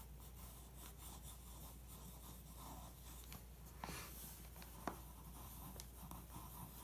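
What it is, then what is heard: Pencil tracing on glossy magazine paper. A pencil traces and scratches over a photo of a weight plate on a glossy paper magazine spread. Soft, steady scratchy strokes sit over a low background hum, with a couple of sharper ticks from the pencil partway through. The sound stays quiet and close throughout.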